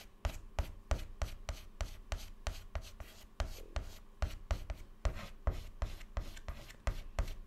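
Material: Chalk.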